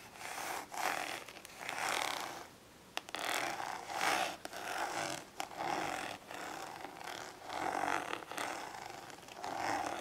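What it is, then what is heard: Plastic storage case scratched with nails. Long nails scratch along the textured side of a small, hollow, glossy orange ridged plastic storage case held on its side. Repeated rasping strokes swell and fade with short pauses between them, and a brief tap-like click stands out near the three-second mark.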